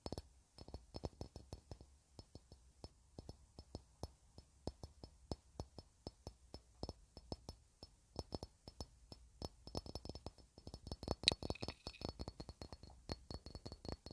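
A small, clear cut-glass bowl or candle holder with a faceted pattern, hollow and empty, is held in the hands and tapped with long red-painted nails. Quiet, sharp clicks come in an irregular rhythm, growing denser and quicker toward the end. Each tap has a high, glassy ring that dies away almost at once.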